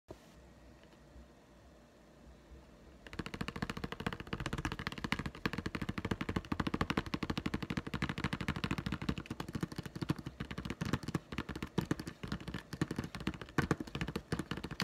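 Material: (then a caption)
Plastic. A retail card with a clear plastic blister holding a hollow green plastic putty egg is tapped on the blister with fast fingertips and nails. After about three seconds of near silence, a dense, rapid stream of light, dry plastic taps runs to the end.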